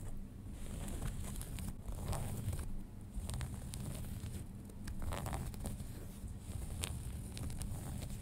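Fingernails scratch the front pocket and waistband area of folded light-wash denim jeans. Steady rough scratching and rasping strokes play over a dense low rumble, with faint brighter crinkly flicks now and then.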